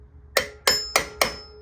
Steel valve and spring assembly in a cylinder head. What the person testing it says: when I first took these heads off, there was no sound. They were all dead sounding. Hear the ring?